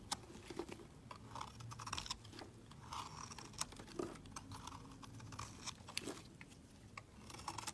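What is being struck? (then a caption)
Bar of soap. A metal utility blade shaves curls off the surface of a solid, pale green, palm-sized bar of soap held in the hand. Quiet, crisp scraping and crunchy ticks repeat in quick bursts, each dying away at once. The scrapes carry a bright, papery edge over a soft low rustle.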